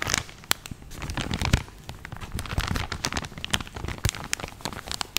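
A full, medium-size soft plastic film pouch of cotton makeup-remover pads is held in both hands and crinkled and squeezed with fingertips and nails. The result is a dense run of sharp, bright crackles and crinkles over low, soft handling thumps.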